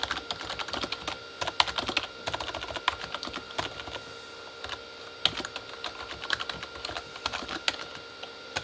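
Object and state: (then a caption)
Plastic membrane computer keyboard. Fingertips of both hands type on a Corsair K35 plastic membrane keyboard with red backlit keys. Rapid bursts of short, bright plastic key taps clatter with almost no ring, and brief pauses fall between bursts.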